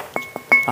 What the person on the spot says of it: gõ cho anh em nghe tiếng bon bon này